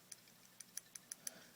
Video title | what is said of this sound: General Maintenance Tips and Tricks, while I tune up the SnG (carbidizing the lockface and MORE!!!) | my pocket clip has loosened up just a little bit so you can hear it. It doesn't rattle or anything, but when you tap on it